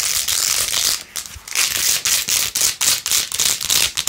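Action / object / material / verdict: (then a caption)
scrape / plastic phone case with faux-pearl beads / plastic / none. Long nails scratch quickly over the pink faux-pearl beads on a rose-gold plastic phone case held in one hand. The result is a dense, bright, crackly scratching with almost no low end. It comes in fast, uneven bursts with brief dips in between.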